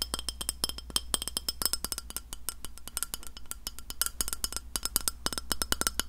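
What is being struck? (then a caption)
Glass plate. Long nails knock and tap rapidly on the face of a round, flat, solid white glass plate held in front of the mic. Each tap is a short, bright click with a high glassy tick that dies away almost at once. A steady low hum runs underneath.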